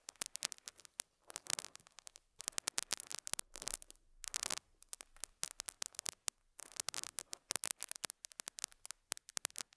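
A metal dental scaler hook scratches a small square beige felt pad resting on a lapel mic, producing quiet, dense bursts of bright, crackly scraping with a faint hum underneath. The scratching comes in quick clusters separated by short pauses, with almost no low end.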